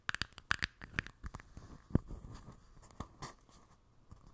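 A small, empty clear plastic cup with a label on its base rests on top of a microphone and is tapped and scratched with long nails. A quick cluster of sharp, bright clicky taps is followed by a deeper thump on the mic, then softer scratchy rustling with a brief crinkly burst near the end.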